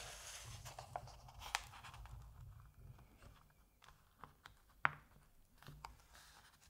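Fingertips rub along the edges of the printed paper pages of an open Asterix comic album and handle them. It makes a soft, dry rustling and scratching with several brief, crisp ticks and snaps scattered through it. The sound is quiet overall, with bright edges on the sharper contacts.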